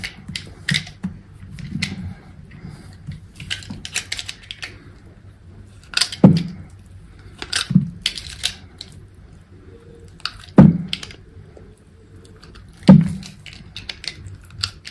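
A utility knife blade scrapes and slices thin layers off a round, solid pink soap piece held in the hand. Soft, uneven scraping and crisp ticking cuts fill the clip, with a low, dull body to each stroke. Four louder, sharper slicing snaps stand out over the quieter shaving.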